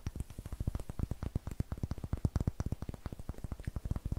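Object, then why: Small wooden block. A palm-sized solid light wooden cube with a textured greenish face, held in both hands, is tapped and scratched with long nails. A rapid, steady run of short, dull, low knocks with almost no ring goes on throughout, with a faint scratchy edge between them.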